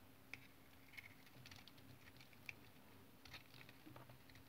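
A utility knife blade shaves the surface of a solid brown tar soap bar into rolled curls. Soft, irregular scraping and crisp bright ticks are heard, with a few sharper clicks standing out. A faint steady low hum runs underneath.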